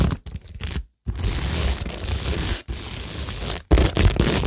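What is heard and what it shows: Long nails scratch and fingertips rub across a cork tingle board covered with plastic rhinestones, gems and pearls. This makes dry, crackly scraping with a bright, hissy top and a low, rumbling body. The rubbing comes in three bursts separated by brief silences, and the last burst is the loudest.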